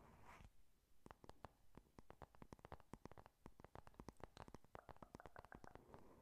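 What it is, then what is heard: Cardboard eyeshadow palette. Long nails tap and scratch on the closed cardboard cover of a flat pink "Honey Lust" eyeshadow palette. It opens with a brief soft scrape, then a quick, irregular run of dry, clicky taps, each sharp and gone at once, over a faint scratchy hiss. The whole clip stays quiet and close.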